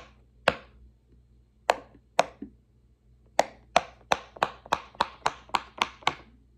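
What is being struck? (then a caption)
Silicone push-pop bubble toy. Fingertips press the hollow bubbles of a large, flat, square rainbow silicone pop-it fidget toy resting on a wooden table, popping them through one by one. Each press makes a short, dry, snappy pop with a mid-pitched knock and a brief bright edge that dies away almost instantly. After a few scattered pops, the rest come in a quicker, steady run.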